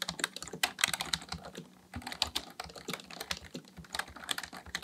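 Fingertips of both hands type steadily on a black plastic full-size computer keyboard resting on a desk. The sound is a dense stream of crisp, bright plastic key taps that die away almost instantly, with a brief pause just before the two-second mark before the typing resumes.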